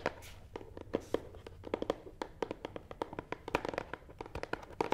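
Fingernail tips scratch and tap the front side of a long, hollow black matte cardboard box resting on a table. Many quick, dry taps, each with a hollow midrange knock and almost no ring, come in an uneven rhythm over a soft scratchy rustle. The taps stay close and quiet throughout.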